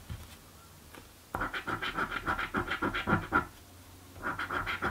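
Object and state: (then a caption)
Coin scratching a paper scratch card. A coin scratches the lower coated panels of a blue paper scratch lottery ticket in quick, repeated strokes. Each stroke is a short, dry rasp with a steady mid-pitched squeak. A two-second run of strokes stops, then a brief pause and a second run follows.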